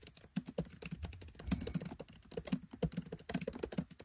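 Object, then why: Laptop keyboard with plastic keys. Fingertips type on a MacBook Pro 13 keyboard with black plastic keycaps set in an aluminium body. A quick, uneven run of short, soft key taps is heard, each with a dull low click that dies away almost instantly.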